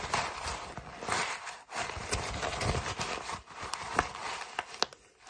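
An empty brown kraft paper mailer bag is crumpled and crinkled with fingers. It gives a dense, bright, crackling rustle with sharp snaps scattered throughout. There are brief quiet gaps partway through and near the end.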